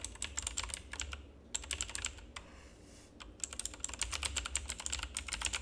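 Fingertips type continuously on a full-size black plastic mechanical keyboard with RGB backlight, producing rapid, bright, sharp key clicks that die away almost instantly. The typing runs in quick bursts with two brief pauses, over a steady low hum.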